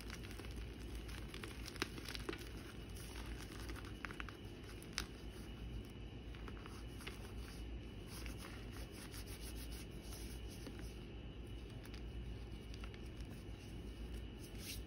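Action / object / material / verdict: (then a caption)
scrape / gym chalk (magnesium carbonate) chunks / magnesium carbonate / none. Small broken chunks of a solid, powdery white gym chalk block (magnesium carbonate) are crushed and rubbed between the fingertips and palms of both hands over a galvanized metal tub of powder. Soft crunching, crinkling and crackling run throughout, with a few sharp cracks standing out over a steady low hum.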